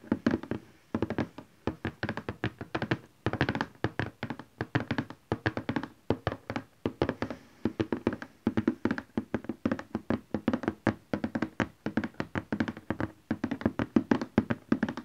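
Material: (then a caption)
Cardboard. Fingertips and nails of both hands tap rapidly on a large cardboard printer box lying flat. The result is a steady stream of dull, hollow taps with a low-mid thump, very little brightness, and almost no ring, arriving in quick bursts with short pauses between them.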